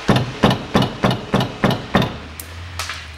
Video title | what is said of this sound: Как убрать стук дребезжащих суппортов Toyota Passo 2005 года Тойота Пассо | постучу по колесу и покажу какой звон